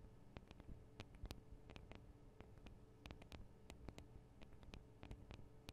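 Long acrylic nails on both hands tap the small, hollow metal microphone capsules of a Tascam DR-40 recorder. The result is a quiet, irregular stream of sharp, bright clicks that stop dead with no ring, over a steady low hum and rumble.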